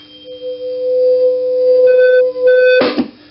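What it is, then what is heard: Steel tuning fork ringing loudly through a guitar pickup. A steel (ferromagnetic) tuning fork is struck near a guitar pickup and rings loudly through the amp as a steady tone near 527 Hz with faint higher overtones. Its loud ring, compared with an aluminum fork that can hardly be heard, shows the effect of the fork's material. The tone swells, briefly dips and returns, then ends in a short burst of noise.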